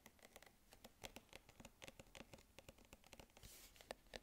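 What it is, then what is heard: Metal tin can with paper label. Fingernails tap the metal base and plastic lid of a hollow, medium cylindrical food tin with a paper label, held up close, and scratch across the label. The result is a rapid series of short, dry clicks with a faint hollow ring around 535 Hz and bright, crisp edges. A brief broadband scratching rasp comes just past the 3.5-second mark.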